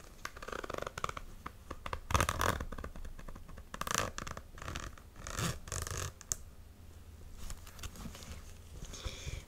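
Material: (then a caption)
Faux suede. Long nails scratch a hollow, empty, medium-size beige faux-suede ankle boot with laser-cut perforations and a metal side zipper, working over the suede and the zipper area while the boot is held up. Dry, close scratching comes in short bursts and longer rasping strokes, with low thuds beneath and brighter zipper-like rasps.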